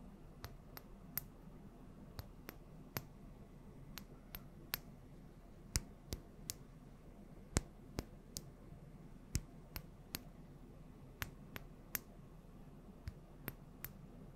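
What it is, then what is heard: Small glass oil bottle. Long nails tap and scratch a small clear glass bottle of yellow oil with a gold metal cap, held close to the microphone. About 23 sharp, bright clicks ring out at an uneven, unhurried pace, each dying away almost instantly over a soft, low background hum.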